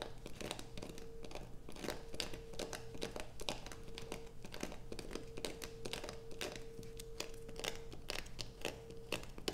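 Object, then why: Bar of soap. Long acrylic nails scratch a solid blue bar of soap lying on black fabric beside a pile of shavings. The result is a dense run of sharp, bright scratching and crinkling clicks over a steady low hum and a faint constant tone near 600 Hz. Each scrape cuts off almost instantly with no ring.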